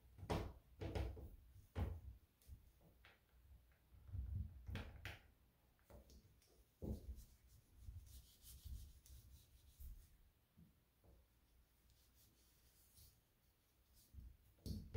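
A hand rubs a white disinfecting wipe over the polished chrome-plated lever handle and round rose of a white door. The solid handle gives low, soft rubbing and wiping sounds with frequent dull knocks and brief bright squeaks, quiet overall and mostly bass.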